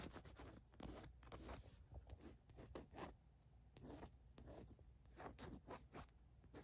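Long nails scratch quickly across the white printed letters on a green cotton fleece sweatshirt, and a fingertip traces along the lettering. The result is a run of quiet, dry, zipper-like scraping strokes with a bright rasp over a soft low rumble, each stroke stopping short with no ring.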